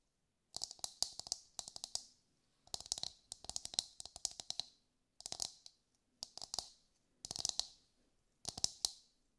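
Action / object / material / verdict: tap / husked coconut shell tapped with fingernails / coconut shell / none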